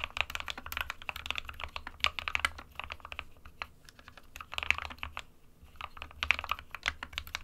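Fingertips of both hands type continuously on an SK61 small 60% mechanical keyboard with a plastic case and plastic keycaps, hollow with switches inside. Rapid, bright, clicky key taps with almost no ring-out cluster in fast bursts, peaking around 2.6 kHz, with brief quieter lulls between runs of typing.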